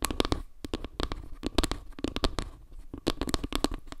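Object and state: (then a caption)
Wooden log-slice trivet. Long nails scratch and tap across the surface and edge of a flat, round wooden log-slice trivet held in both hands. The result is a quick, uneven string of dry, short clicks and scratchy rasps with a dull, woody low body and bright crackly tops.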